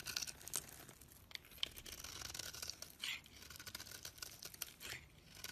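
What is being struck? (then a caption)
Bar of soap scraped by a blade. A utility knife blade scrapes flakes and crumbles off a solid oval Fa bar soap held in the hand, its dark brown coating giving way to an orange interior. The sound is a dry, bright, crackly scraping of closely spaced gritty strokes with little low end.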